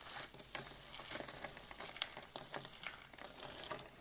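A pile of brittle pink dry soap flakes from a crushed soap rose is pressed, rubbed and scooped by fingertips with short nails, crunching the flakes in both hands. The sound is a steady, dense crinkling crackle with sharp bright snaps, almost no low end, and each crunch dies away quickly.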